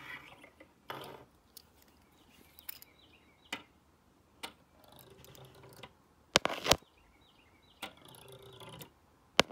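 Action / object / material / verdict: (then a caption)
scrape / plastic comb teeth rolled over by a stone roller / plastic / none. A black stone face roller is rolled by hand over the teeth of a solid black plastic hair comb lying flat on a wooden desk. It produces bright, ratchet-like clicking bursts and short rolling rattles, with about eight sharper clicks standing out at irregular intervals. The clicks are dry and stop instantly.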